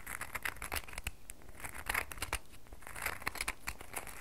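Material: Soap.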